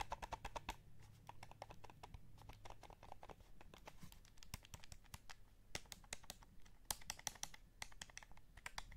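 Fingertips tap the face buttons and hollow plastic shell of a light blue PS5 DualSense controller in a fast, uneven run. Each tap is a short, dry, bright click that dies away almost instantly, over a faint steady low hum. Every few taps a louder, sharper click stands out.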